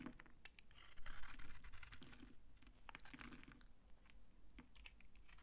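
A utility knife blade scrapes brittle, flaky curls off a palm-sized solid bar of old, dry brown laundry soap. The result is an irregular run of crunchy, crackling scrapes and short dry snaps, with the loudest bright crackling bursts near the one-second mark, over a steady low rumble.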